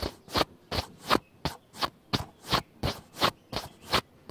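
Fingertips and nails rub and scratch the square plastic lens hood and top of a black plastic camcorder front. It makes a steady series of short, dry scraping strokes with a bright, hissy edge. Each stroke rises and fades quickly, with brief quiet gaps between them.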